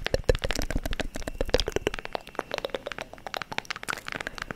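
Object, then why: Small wooden book-shaped box. Long nails scratch and tap along the grooved page edges and cover of a small, hand-sized wooden book-shaped box. The result is a quick, dense run of dry, clicky taps with very short ring, mixed with scratchy rasping over the ridges.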